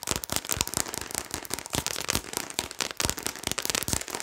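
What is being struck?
Plastic seasoning shaker bottle.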